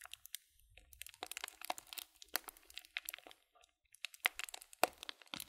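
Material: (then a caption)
Paper. Fingertips crinkle the rolled, folded top of a small, filled white printed paper tea bag and squeeze its sides. The result is soft, irregular crinkling and crunching with short, sharp, bright crackles separated by brief quiet pauses.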